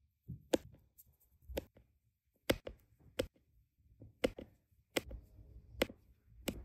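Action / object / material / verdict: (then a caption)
tap / resin diamond painting drills on adhesive canvas / resin / none. A plastic drill pen with a metal tip taps small, solid, round resin diamond painting drills down one by one into a row on a flat, printed adhesive canvas. Each placement gives a short, dry, bright tap with a faint soft thud beneath, spaced apart in a slow, uneven rhythm with quiet rustling between.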